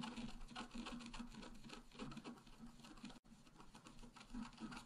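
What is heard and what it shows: A wooden stylus scratches the lower tree area of a flat, black-coated scratch-art card lying on a table. Quiet, rapid and uneven scratchy strokes rasp across the surface with a faint tonal hum underneath. The scraping pauses briefly just past the three-second mark, then continues.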